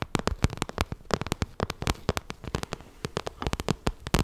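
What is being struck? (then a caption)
Glossy vinyl zippered cosmetic bag. Long nails tap and scratch the surface of a glossy pink vinyl zippered cosmetic bag held close to the mic. A rapid, uneven run of short, dry clicks, each with a soft low thump and a bright edge that dies away at once, is interspersed with faint scratching between the taps.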